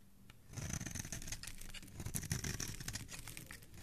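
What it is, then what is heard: Soap bar being shaved. A metal utility blade scrapes and shaves the surface of a palm-sized, solid green oval soap bar held in one hand, piling up curly soap shavings. After a quiet first half second, a dense, steady scraping sets in, with crisp, bright crackles over a low, muffled rumble that continues to the end.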